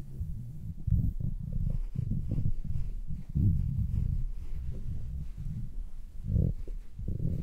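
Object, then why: Synthetic fur earmuffs. Fingers squeeze and rub red synthetic-fur padded earmuffs on a mannequin head. The result is a muffled, deep, close rumbling with soft thumps and bursts that rise and fall. Almost all of the sound sits in the low end.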